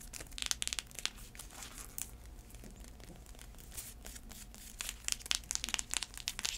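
Long acrylic nails scratch the braided straps and tap the tan insole of an empty black braided faux-leather heeled sandal with a block heel. Bright, crinkly scratching runs throughout, with clusters of sharp, dry taps at the start and end and a quieter stretch of scratching in the middle. Each tap stops almost instantly, leaving no ring.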